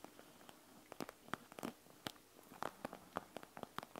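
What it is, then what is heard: Gel bead eye mask (plastic and gel beads). Long acrylic nails tap and scratch across the clear plastic front of a flat panda-print eye mask filled with small gel beads, lying on a wooden table. A quiet, irregular run of sharp, dry clicks and brief crinkly scrapes follows, each tap stopping dead with no ring.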